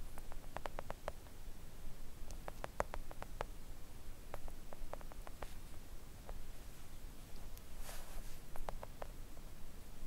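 Long acrylic nails on both hands gently tap a thin, solid, flat pink silicone nail art mat resting on a table. Quiet, dry little clicks come in quick irregular clusters, each dying away almost at once, over a low, steady background rumble.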